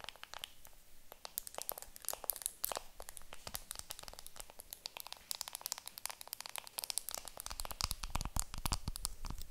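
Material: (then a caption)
Plastic film. A round makeup compact wrapped in clear plastic film is held in the hands while long nails scratch and crinkle the film. The result is a dense, irregular stream of quiet, bright crinkles and sharp ticking scratches that stop instantly, with no ringing.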